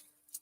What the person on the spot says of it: when you tap it on your fiber gels versus you tap it on your gel palette you don't hear any sounds at all